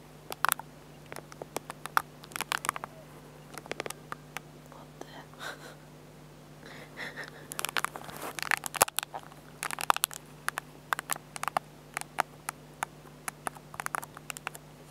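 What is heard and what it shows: A fingertip taps and scratches the control pad and screen edge on the back of a small black plastic compact digital camera, with a tissue lying nearby. Many sharp, dry, bright clicks come in irregular clusters with soft scratchy rubbing between them. A steady low hum runs underneath throughout.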